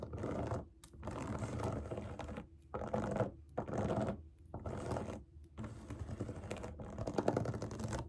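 Long nails tap and scratch the hollow bubbles of a large, round, rainbow silicone pop-it fidget toy resting on a table. Dense bursts of quick, soft clicking and scratching come in stretches of a second or two, separated by brief pauses. The sound is muffled and mostly low to mid, with little brightness.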